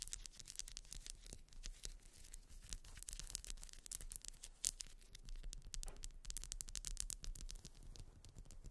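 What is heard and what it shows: Long white nails scratch rapidly along the ridges of a grey ribbed solid wax pillar candle lying on fur. The result is a dense, quiet stream of dry, bright scratches, with a low rumble underneath and one sharper scrape near the middle.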